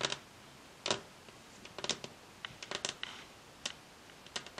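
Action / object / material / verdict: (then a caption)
tap / varnished wooden tabletop / wood / none. Long acrylic nail tips from both hands tap and click fast and repeatedly on a solid varnished wooden tabletop. Sharp, bright, dry clicks come in irregular bursts and clusters, each dying away almost instantly, with quiet gaps between them.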